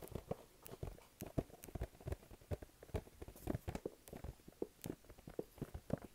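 Fingertips tap and stick-pull rapidly on the front face of a small, flat, glossy pink printed cardboard box, which is hollow and held up in both hands. About twenty quick, dull, hollow taps sound with short sticky peeling clicks, mostly low in tone and quiet, each dying away almost at once.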